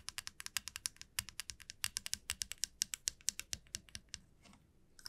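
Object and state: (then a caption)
Wooden comb tapped with nails. Long nails tap and strum the teeth of a flat, light wooden wide-tooth comb lying on a felt mat. About thirty-four short, dry, bright clicks come in a quick, uneven run with almost no low end and no ring. The clicks thin out near the end, leaving a brief near-silent gap before a few last taps.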